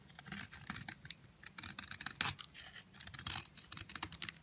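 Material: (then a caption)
Soap. A long, narrow yellow bar of soap held in the fingers is carved with a metal utility blade. The blade makes a quick series of bright, crisp scraping strokes as it shaves off crumbly curls. The shavings fall onto a pile of blue and red soap crumbs.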